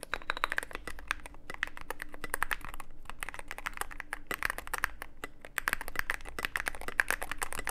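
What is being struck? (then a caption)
Mechanical keyboard with plastic keycaps. Rapid typing with the fingertips of both hands on a full-size Cyberboard mechanical keyboard, which has a dark case with an LED panel and white and grey PBT/ABS plastic keycaps. A dense, steady stream of short, sharp clacks runs throughout, each dying away almost instantly over a low background hum, with a brief lull around the middle.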